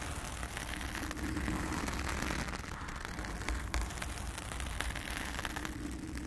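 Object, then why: Foam microphone windscreen scratched with fingernails. Long acrylic nails of both hands scratch across a blue foam cover on a round studio microphone. The result is a dense, steady rustling and crackling with a heavy low rumble underneath and fine bright scratchy grit on top.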